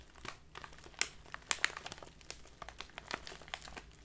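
A tall clear plastic bag with a paper label, full of loose leaf tea and standing on a table, is squeezed and crinkled with both hands and long dark nails. Quiet, dense crinkling fills the clip with bright, sharp crackles, and louder snaps stand out around the middle.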